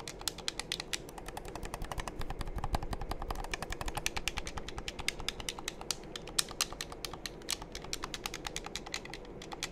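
Fingertips rapidly press and tap the buttons and shell of a hollow, black hand-held plastic game controller, held in both hands close to the microphones. The result is a continuous stream of short, sharp, bright clicks and taps with almost no ring, over a quiet, steady low rumble.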